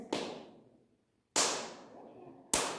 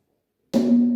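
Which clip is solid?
The first.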